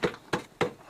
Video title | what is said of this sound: Documentário a Arca de Noé foi descoberta_ Expedição da Nami no Monte Ararat | it's wood okay it's Hollow listen to that sound